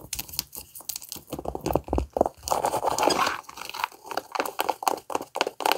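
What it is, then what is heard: Leather sneaker scratched and tapped. Long acrylic nails scratch and tap the upper and sole of a white Nike sneaker with a leather/synthetic upper and laces, the hollow shoe held in hand. Quick, irregular bursts of dry, crinkly scratching mix with short taps that stop almost instantly, with most of the energy in the midrange around 660 Hz and brighter, scratchy edges.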